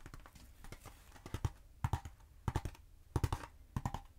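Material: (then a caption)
Polyethylene foam. Long acrylic nails tap and scratch along the textured surface of a long, black, hollow polyethylene foam pool noodle held in both hands. The result is soft, dull, low taps around 94 Hz that die away almost instantly, coming in quick clusters separated by brief quiet gaps, with faint scratchy rustle between them.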